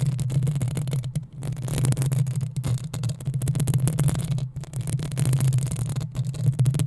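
Long nails scratch the sides of the hollow metal mesh grille on a black desktop microphone. A dense, continuous scratching rumble comes through, heavy in the low end with a steady hum-like tone and faint bright rasp on top. It breaks off briefly near 1.2 s, 4.5 s and 6.1 s.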